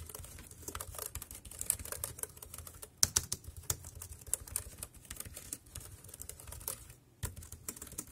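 Fingertips tap the round keys of a dark grey plastic wireless keyboard in steady typing. The sound is a rapid run of short, bright plastic clicks with very little ring, over a faint low rumble, with a brief pause near the end before the typing resumes.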